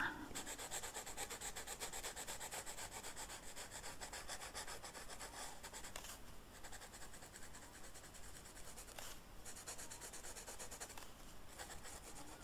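A pink felt-tip marker is rubbed across a flat black velvet-flocked paper sheet while coloring a rose. The result is a soft, continuous brushing and rubbing with fine, dense strokes and a bright hiss on top. The level stays low and steady throughout.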